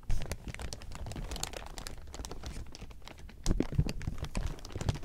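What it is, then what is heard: Clear plastic sheeting crinkling. Fingertips scratch and crumple a large heap of thin clear plastic sheeting, giving a dense, continuous crinkle of quick dry clicks. It opens with a sharp loud burst, settles into a steady quieter rustle, then grows louder again after about 3.5 seconds.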